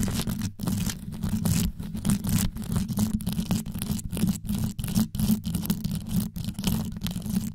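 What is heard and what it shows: Long yellow acrylic nails on both hands scratch fast over the rows of small multicolored rhinestones covering the hollow metal grille of a desktop USB microphone. The result is a dense, deep rumbling scratch with a strong low hum near 200 Hz and faint bright crackle above it, broken into quick bursts by brief gaps where the nails lift away.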